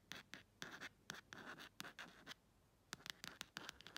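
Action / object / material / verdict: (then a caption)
scrape / clear plastic phone case / plastic / none. Long red acrylic nail tips scratch slowly across the flat printed back of a phone-sized clear plastic case with a printed "ASMR" insert. Short, bright, rasping strokes come in quick bursts, with a thin scratchy tone around 1.7 kHz. A quiet gap falls in the middle before a denser run of strokes.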